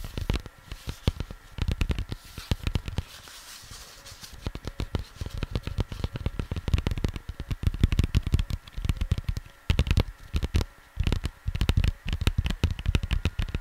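Fingers tap rapidly on a cardboard vinyl record sleeve, producing dense bursts of short, dull, low thuds with almost no ring. The tapping eases off into a quieter stretch near the start before picking back up in steady flurries.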